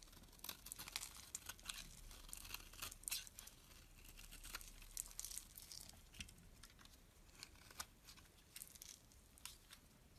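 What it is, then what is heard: Bar of soap being scraped. A solid dark green bar of soap, held in the hand, is scraped with a metal blade, shaving off crumbly pieces. The scraping comes as repeated bright, dry, crackling bursts of uneven length over a faint low rumble, with each stroke cutting off sharply.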